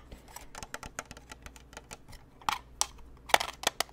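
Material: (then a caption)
Plastic. A white, lantern-shaped plastic snow globe about hand height, with a plastic frame and clear panels around a glittery Santa scene, is held in the hands and tapped with the fingertips and nails on its frame and panels. About fifteen quick, dry, bright clicks and ticks come at an irregular pace, each dying away almost instantly. The taps grow sharper and louder toward the end.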